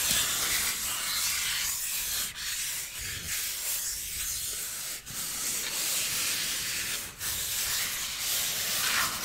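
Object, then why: Styrofoam block. A solid white styrofoam block is rubbed with the palm and fingertips, giving a steady, bright, hissing scratch with almost no low end. The rubbing runs continuously, with a few brief dips where the hand pauses or changes stroke.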